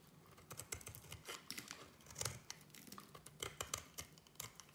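A solid oval white soap bar, held in the hand, is cut into thin curls with a small metal blade. A quick, uneven run of crisp, dry scraping cuts and crackles sounds bright and close, each cut short with almost no ring after it.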